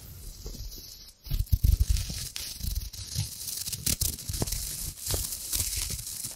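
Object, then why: Thin metallic foil sheet. A hand-sized sheet of thin gold metallic foil is crinkled and scrunched by long-nailed fingers close to the microphone. A soft rustle in the first second gives way to louder, dense crackling and tearing-like crinkles with bright, sharp edges over a low rumbling body. The crinkling continues in uneven bursts to the end.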